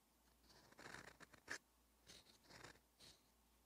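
A steel extra-fine fountain pen nib (Twsbi Eco EF) writes Korean on a thin, cream-coloured lined page of a paperback notebook, scratching across the paper in light, repeated strokes. Short bursts of dry, bright scratching come and go, with a sharper tick at about 1.5 seconds, over a quiet background.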